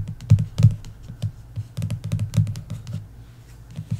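Long nails give fast fingertip taps, like typing, across the glossy card cover of a paperback novel, The Inheritance Games, lying flat on a wooden table. The taps come in quick, uneven bursts of dull, low thuds with bright clicky edges, each dying away almost at once.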